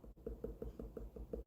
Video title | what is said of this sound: Harvesting watermelon E46S1 | that tells me that it's pretty ripe